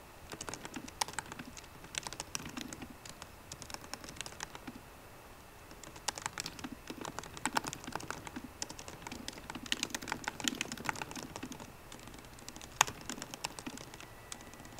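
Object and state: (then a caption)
Laptop keyboard with plastic keys. Both hands type continuously on a MacBook Pro keyboard, striking its plastic keycaps on the hollow aluminium laptop body with fingertips and long painted nails. The result is a steady patter of quick, bright, dry clicks that stop dead with no ring, in bursts broken by brief pauses, with one sharper tap standing out near the end.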